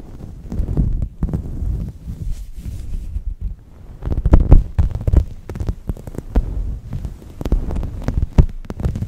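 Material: Microfiber.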